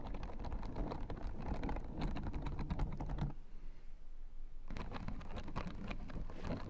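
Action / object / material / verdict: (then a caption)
tap / plastic spiked acupressure mat / plastic / none. Long nails tap and scratch the white plastic spiked rosettes of a blue fabric acupressure mat, making rapid clicky, scratchy ticks over a deep low rumble. The tapping runs steadily, pauses for about a second and a half near the middle, then picks back up at the same busy pace.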